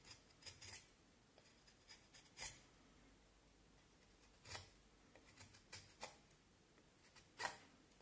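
A knife blade shaves and scrapes the surface of a solid vine wood stick with patches of bark, held in one hand, as chips fall onto the table. A series of short, crisp, bright rasping scrapes comes through at a low level, separated by quiet pauses. The sound is dry, with almost no ring after each stroke.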